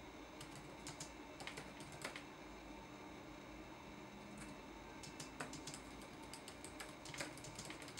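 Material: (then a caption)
Plastic. Fingertips tap the plastic keys of a red-backlit laptop keyboard in a steady typing rhythm. The result is a run of quiet, bright clicks and clacks over a faint, constant background hum.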